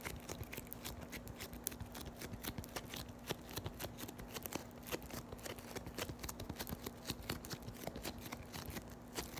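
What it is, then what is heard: Floam (foam beads in slime). A palm-sized piece of solid yellow floam (foam beads in slime) is pressed, folded and scratched by long white nails. It gives off a dense, quiet stream of sharp crackling and crunching pops, bright and short with no ring, over a faint steady low hum.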